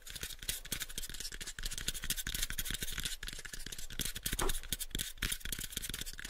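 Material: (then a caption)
Wood. Both hands tap with fingertips and scratch with nails on a pale, unfinished, hollow wooden box about 7 inches on each side. Rapid, dense taps give hollow low thumps that die away quickly, layered over a steady bright, scratchy hiss.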